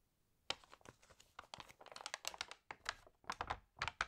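After a brief quiet start, fingertips rub and turn the pages of an open, water-damaged glossy paper magazine. The result is a quick string of crisp, bright crinkles and rustles. Each is short and dry, with almost no low end.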